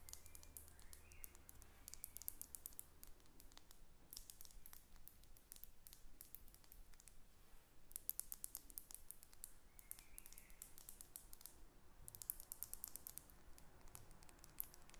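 Long red acrylic nails tap and scratch a hand-sized faceted glass perfume bottle with a metal cap, partly filled and held in both hands. Quick, sharp, bright clicks come in steady streams, with denser bursts of scratching, over a faint low background hum.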